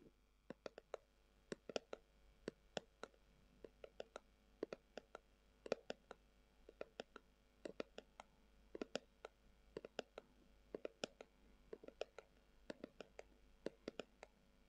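Long acrylic nails tap and scratch across a brown, textured, leather-covered tubular glasses case that is hollow. About fifty quiet, sharp clicks sound in irregular bursts, each dying out almost instantly, with a faint hollow tone near 480 Hz and bright, crisp edges, over a soft, steady background hiss.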